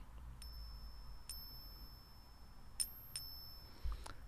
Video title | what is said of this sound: 2022-03-25 Mad at the Internet - Silver Ratio | the ringing sound that silver makes it's a very subtle way of testing if a metal object is actually silver